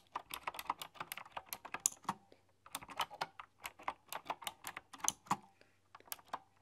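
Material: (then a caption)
Plastic and metal. Fingertips with long, dark-polished nails type on a full-size, typewriter-style computer keyboard with hollow, round chrome-rimmed keycaps. About 27 sharp, bright clicks and clacks come in quick runs, with a brief pause near the middle and another near the end. Each tap dies away almost instantly, with little low-end weight.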